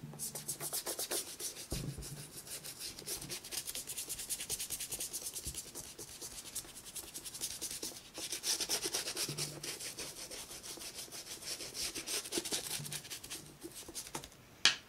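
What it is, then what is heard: Rubber shoe sole being scrubbed with a brush. A white toothbrush scrubs the black rubber sole and sole edge of a brown leather J.Crew penny loafer, held hollow and empty and tilted up in hand, working up visible foam. Quick, bright, scratchy bristle strokes run in a steady, quiet back-and-forth rhythm, with a single sharp tap just before the end.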